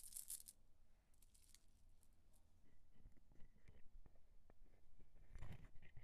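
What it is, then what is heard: Glass bead necklace. A multi-strand necklace of faceted green glass beads, held in the palm over a marble counter, is rolled and rubbed between fingertips with long acrylic nails. The beads click together in soft, irregular ticks and rustles, with a brighter crinkly burst at the start and another near the end.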